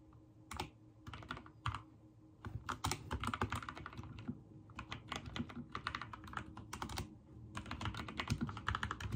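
Rapid fingertip typing on a backlit mechanical keyboard with white and teal plastic keycaps comes in quick bursts of sharp, clacky key presses, each with a low thocky body and a short, dry decay. The bursts are separated by brief pauses.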